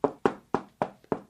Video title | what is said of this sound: Expert Guide to Concrete Repair | use a hammer and tap around on the surface of the concrete. And what you're listening for is hollow sounds like this